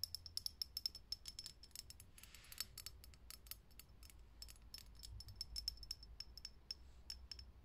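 Long fingernails tap quickly on a lit, hollow, clear glass vintage filament light bulb sitting in a socket. A rapid, uneven stream of sharp, bright clicks each carries a brief high glassy ping. A faint low hum runs underneath throughout.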